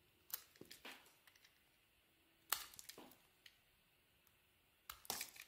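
A utility knife blade carves and scrapes a solid white bar of soap with a red and pink coating, held in the hand. Three bursts of crisp, bright scraping and crunching cuts are heard, separated by quiet pauses, each with short crackling flakes and no ring.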